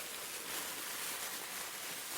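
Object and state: Nothing is struck.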